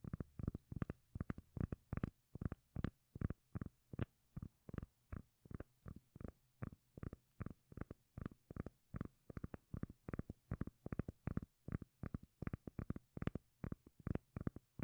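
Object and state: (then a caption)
Round cork lid. Long nails tap and scratch the surface of a solid, palm-sized round cork lid held close to the microphone. The result is a steady run of short, dull, bass-heavy thumps, often in quick pairs, that die away almost instantly with very little high end.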